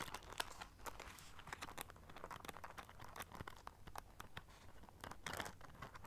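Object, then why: Studded clutch pouch with rhinestones. Long nails scratch and tap the silver studs on a small black rhinestone-studded clutch pouch held in both hands. The result is a quiet, steady stream of crisp, bright clicks and scratchy rustling. Each tick is very short, with no ring.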